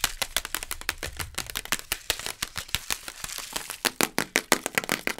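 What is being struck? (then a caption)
Cardboard instant noodle cup tapped and scratched with long nails. Long acrylic nails rapidly tap and scratch the sides and base of a small, sealed yellow Maggi beef instant noodle pot made of printed cardboard/plastic, full and unopened with a foil-paper lid, as it is held and tilted. The result is a fast, uneven run of sharp, dry, bright clicks and scratchy rasps with almost no ring, over a faint low rumble early on.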